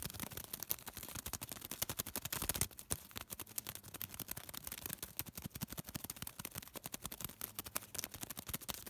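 A small crumpled piece of thin white paper is rubbed and crinkled between fingertips. It makes fast, dense crackling with sharp, bright snaps across the whole clip, and there is a brief lull just before the three-second mark. The crinkling stays quiet and crisp throughout, with each snap dying away almost instantly.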